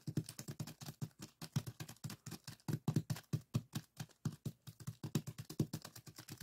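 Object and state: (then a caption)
Plastic zip bag of sand. Fingertips of both hands repeatedly press and scratch the purple sand granules in a small clear plastic zip-lock bag lying flat on a table. About 45 quick, soft, crunchy taps and scratches follow one another in a steady, dense patter. They are low-heavy and dry, with almost no ring after each hit.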